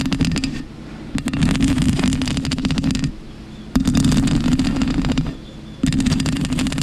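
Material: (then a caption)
Foam. Long pink acrylic nails scratch a soft, porous black foam windscreen covering a microphone, first with one hand and then with both hands. The result is dense, crackling scratches over a low, muffled rumble with bright clicks, coming in four bursts separated by short, quieter pauses.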